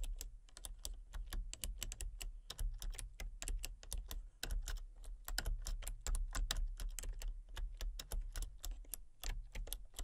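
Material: Plastic.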